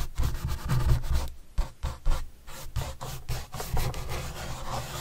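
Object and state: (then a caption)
Cardboard pizza box brushed. A red-handled paintbrush brushes across the surface of a large, flat, hollow white corrugated cardboard pizza box with green edges, held upright. Soft, dull rubbing strokes swell and fade with a low, hollow rumble and a faint bristly scratch on top.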